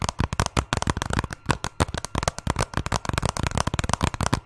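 A hollow hard plastic Zelda video game case is held close to a microphone and tapped and scratched with fingernails, ending partly hidden behind the mic. About 22 quick, dry clicks and taps come in a rapid, uneven run, with a thumpy low end, a hollow knock near 1 kHz and brief scratchy high crackle. Each tap dies away almost at once.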